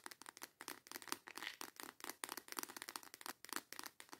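Long yellow acrylic nails rapidly tap and scratch a small transparent plastic storage box with snap clasps, full of colorful false nail tips, held in both hands. The sound is a quiet, dense run of short, dry, bright plastic clicks and scratchy rustles with no low end, each dying away almost instantly.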